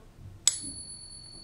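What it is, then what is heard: Genuine silver coin. A real silver coin, centered in a Pocket Pinger and flicked, gives a single sharp ping. It rings on as clear, steady high tones, confirming the coin is genuine silver.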